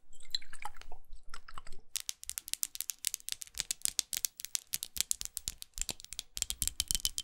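Long acrylic nails tap and scratch a small red studded glass perfume bottle with a rose cap, held in both hands. The first two seconds bring soft, scattered scratching and crinkly textures. After that comes a steady run of quick, dry, bright taps on the textured glass, each clicking short and sharp with almost no ring.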